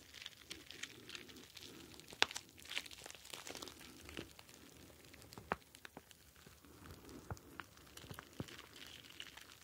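A star-shaped clear plastic gel bead ice pack filled with blue gel beads is squeezed and crinkled with the fingers. It makes a quiet, steady, bright crinkling of plastic, broken by sharp, crisp crackles and pops that die away almost at once.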